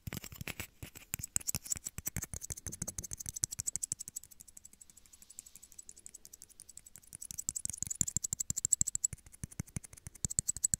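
Two small, hollow, empty clear plastic shot glasses are held in the hands and tapped quickly with fingernails. The result is a rapid, dense stream of short, bright clicks with light hollow knocks underneath, and the tapping softens through the middle before picking up again.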